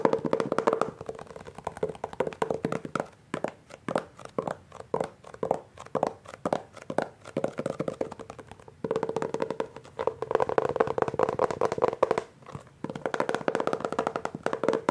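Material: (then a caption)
Laminated paperboard. Fingertips of both hands tap and grip the front cover of a solid Hardy Boys hardcover book with a glossy laminated paperboard cover. Rapid, dry taps come in quick flurries with short pauses, interspersed with denser stretches of scratchy gripping around 450 Hz. Each tap dies away almost instantly, leaving a quiet, close-up clicking texture with little low end.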